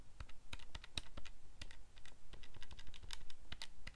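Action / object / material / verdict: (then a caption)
tap / plastic calculator keypad / plastic / none. Fingertips press the plastic keys of a calculator keypad close up, producing a rapid, uneven run of short, crisp clicks. Each tap is sharp and bright with almost no ring, like quick typing.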